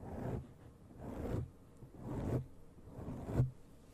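Long pale painted nails and fingertips scratch and rub a black foam windscreen, a soft, porous cover over the hollow grille of a large desktop condenser microphone. Four slow, swelling strokes of muffled, deep rumbling scratching are heard, each building and then cutting off, with little high-end content.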